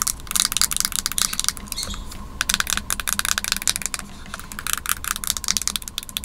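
Long fingernails tap rapidly on the underside and white plastic top of a small white plastic-and-aluminum Magic Mouse held in the hands. The result is bursts of sharp, bright, dry clicks with almost no ring, pausing briefly between clusters. A faint steady tone and low hum run underneath.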